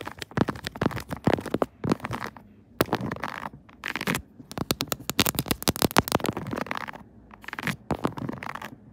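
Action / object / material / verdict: tap / silicone phone case on a smartphone / silicone / none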